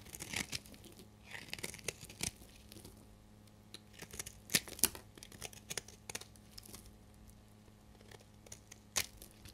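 A solid amber bar of dried soap, held in the hand, is shaved with a utility knife blade, curling off yellow shavings. The cuts give dry, bright scraping and crackling with sharp snaps and crisp tearing sounds against a quiet background. Each stroke is short and irregular, with no ringing afterward.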